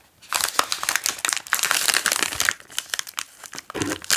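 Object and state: Plastic snack wrapper being crinkled.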